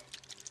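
A plastic paint pot of Devlan Mud wash is shaken, giving three quick, quiet bursts of bright liquid sloshing and rattling against the pot. The washes don't really need shaking.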